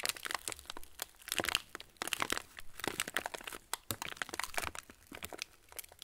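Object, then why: Plastic cracker wrapper. An opened yellow plastic TUC cracker wrapper with crackers inside is held in both hands and crinkled and squeezed with the fingertips. It gives a dense, bright run of sharp crackles and crinkles with quick, dry snaps that stop almost instantly, and little low end.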